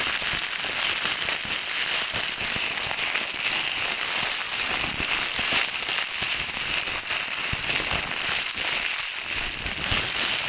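An empty, thin, clear plastic film bag is crumpled, pressed and rubbed with fingertips and dark nails. It makes a dense, steady crinkling and crackling that stays bright and high, with almost no low end, for the whole clip.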